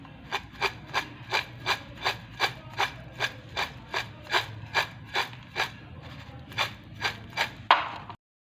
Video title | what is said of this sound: اسپائسی سلمس کنیز فاطمہ فوڈ | यह बहुत क्रिस्पी बने इसकी आवाज से पता चल रहा है